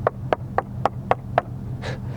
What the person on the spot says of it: solid as a rock and the Dynamat and the sound insulation is a huge factor